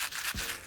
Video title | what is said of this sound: How To Make Quesa Birria Tacos (Authentic) | if you shake them, you hear all those little seeds rattling around inside